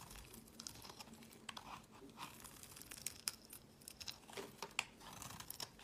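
A solid, square, cream-colored hard laundry soap block is held in the hand and shaved into curls with a utility knife blade. The clip is quiet, with irregular crisp scraping and crumbly crunching, mostly bright hiss and sharp high clicks with little low end.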